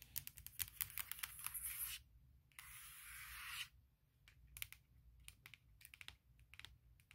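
Long nails tap rapidly on the lid of a large, closed MacBook Pro with a hollow aluminum shell, giving sharp, bright clicks. Two stretches of steady, hissy rubbing across the lid around the logo break up the tapping. Quieter, scattered taps follow to the end.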